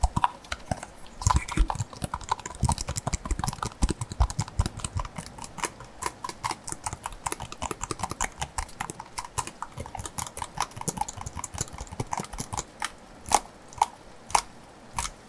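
A hollow white plastic lotion-type bottle is held in both hands while fingertips and nails tap and scratch along its body. Quick, dry clicks and taps with a hollow tone near 820 Hz come in a dense, uneven patter, with light scratching between them and a few sharper, louder taps toward the end.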